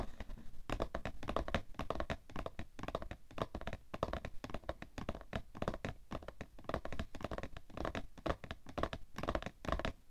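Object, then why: Cardboard tissue box. A palm and fingertips tap rapidly and continuously on the top and sides of a cardboard tissue box. The taps are dull, hollow thumps with a strong low end and very little brightness. Each one dies away almost at once.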